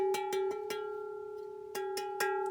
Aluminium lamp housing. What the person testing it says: ça sonne vraiment bien de très bonne qualité